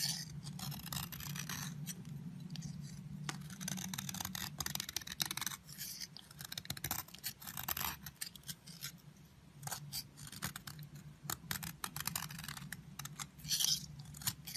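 A metal utility blade scrapes crumbly shavings off the edge of a solid yellow bar of soap held in the fingertips. Quick, crisp scraping strokes come in a dense run with a high, bright texture over a steady low hum.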